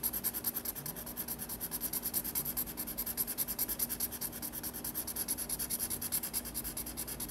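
A black felt-tip marker rubs back and forth in rapid repeated strokes across a white paper page of a spiral sketchbook, filling in an area. The result is a steady, rhythmic, dry scratching hiss with bright, high squeaky emphasis on each stroke and a faint low hum underneath.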